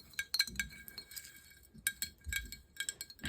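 Long nails tap a small fired-clay hand-print Christmas ornament, made by a child at a village hall party and then fired. The ceramic gives quick, bright, glassy clinks that ring high and die away almost at once.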